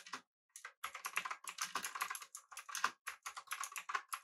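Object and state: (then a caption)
Mechanical keyboard with round plastic keycaps. Fingertips of both hands type rapidly on a full-size, backlit, typewriter-style mechanical keyboard with blue switches, an aluminum body and round plastic keycaps. A quick stream of sharp, clicky keystrokes rings bright and high with very short decay, broken by a brief pause near the start.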